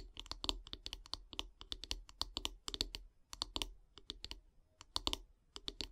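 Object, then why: Wooden bath brush handle. Long grey nails tap rapidly on the solid light-wood handle of a bath brush. The taps come in uneven bursts of short, dry, bright clicks that die away almost instantly, with a soft low thud under each one.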